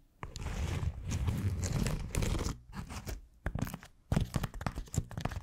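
Long acrylic nails of both hands scratch a round, white, hand-sized smiley-face foam scrub sponge with a solid, textured surface. The result is a dense, low crunchy scratching that comes in bursts, with a long steady stretch followed by quicker choppy scrapes and brief pauses between them.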